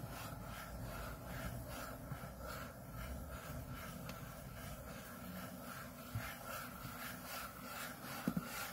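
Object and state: Aluminium laptop lid being scratched.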